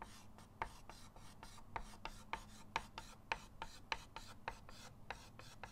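A white chalk stick is rubbed in short rasping strokes across a flat, solid chalkboard in a wooden frame resting on a table. Quiet, dry scratching is broken by sharp, bright clicks and ticks at an uneven pace, each dying away almost instantly over a faint low hum.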